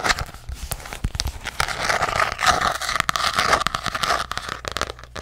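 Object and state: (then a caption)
Hardcover paper journal. Fingernails tap rapidly on a hardcover paper journal, first on its back or spine and then on its front cover. The result is a dense stream of quick, dry clicks with a crinkly, papery crackle and a faint ringing tone around 1.25 kHz.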